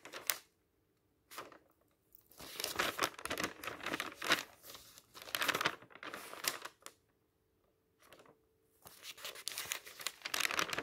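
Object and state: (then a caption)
Paper magazine pages turned. Fingertips quickly turn the thin pages of an open paper magazine lying on a table. Bursts of bright flapping, crinkling paper come in uneven runs separated by short silences, with almost no low end.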